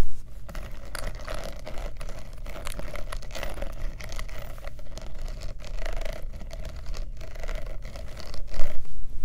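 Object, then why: Faux leather clutch purse with metal studs. Long nails tap and scratch rapidly over the rows of metal studs and rhinestones and the metal turn-lock of a black studded faux leather clutch purse. A dense, uneven patter of quick bright clicks and scrapes runs steadily over a low hum, growing louder in a short burst near the end.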